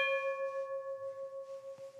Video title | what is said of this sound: Le Pays du Nivernais : Canaux et Réserves Naturelles - 1000 Pays en un - Documentaire Voyage - MG | pour s'assurer qu'il y a pas de felle qu'il y a rien c'est de la faire sonner